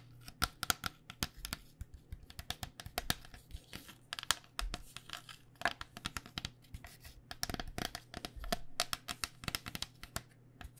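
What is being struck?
Plastic-shelled foam cycling helmet.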